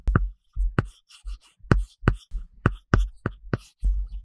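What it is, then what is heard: Stylus scratching on a paper-textured tablet screen. A plastic stylus tip scratches across a large iPad glass screen fitted with a matte paper-texture film, making coloring strokes. About ten short bursts are heard, each a dull low tap followed by a dry, bright scratching rasp, with brief silences between strokes.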